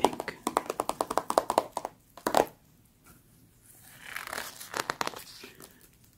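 Long acrylic nails on a hand in a black studded glove tap and scratch the thin glossy pages of an open VOGUE magazine lying flat on a shaggy rug, open to a Louis Vuitton ad spread. A quick run of crisp, papery taps is followed by a short pause, then a softer scratching rustle across the page and a few final taps.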